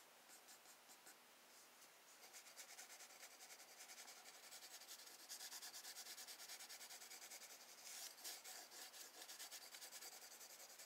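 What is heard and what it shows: A wooden graphite pencil held in the hand draws wave strokes in the lower water area of a spiral sketchbook page of drawing paper resting on a desk, using scratching and rubbing motions. Quiet, bright, hissing scratches repeat in a steady back-and-forth rhythm of about two dozen short strokes. The strokes grow louder and denser after the first couple of seconds and again around the middle.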